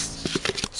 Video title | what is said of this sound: How to Dry Gourds for Crafting | Scraping it with your fingernail should sound like you're scraping a thin piece of wood.